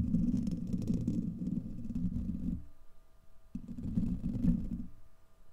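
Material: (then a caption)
Steel mesh. Fingertips and nails scratch a hollow, domed steel wire-mesh microphone grille and cup around it, producing a dense, muffled low rumble with faint bright scratchy texture. The sound runs for about two and a half seconds, drops to near silence, then returns in a second burst before fading.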